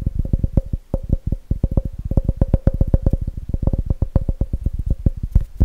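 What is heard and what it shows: Fingertips tap fast and aggressively on the base and walls of a clear, empty plastic measuring jug with red markings, held on its side. A rapid, uneven stream of short, deep, hollow thuds follows, each dying away almost instantly, with a faint plastic ring around 550 Hz.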